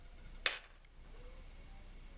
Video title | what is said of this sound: When an unboxing goes wrong! | Hear how it sounds like plastic?